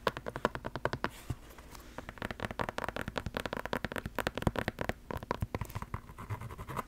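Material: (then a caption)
Foam resin. A single white Crocs clog of molded foam resin is held in the hand while long black nails scratch and tap along its side and sole. The result is a rapid, uneven run of short, dry clicks and soft scrapes that die away almost instantly, with a dull low body and a muted top end.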